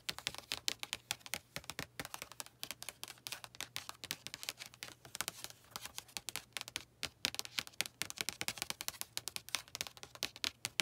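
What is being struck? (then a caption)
Paperback book with card cover. Long acrylic nails tap quickly on the glossy card front cover of a blue paperback novel lying on a lap, in a typing-like motion. The taps are dense, crisp clicks with a bright, high sheen centered around 3 kHz; each dies out almost instantly, over a faint steady low hum.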